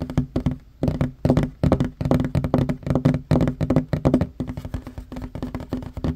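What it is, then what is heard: Wooden table top. Fingertips and short nails of both hands tap rapidly on a flat, solid wooden table top. The dense, uneven bursts of short, dull knocks carry a low woody tone and die away almost at once, broken by brief pauses.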